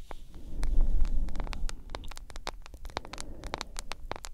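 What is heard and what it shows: Long nails tap rapidly on the glass screen and back of a hand-sized smartphone in a solid yellow plastic case. The result is a fast, irregular stream of short, bright clicks over a low, rumbling hum.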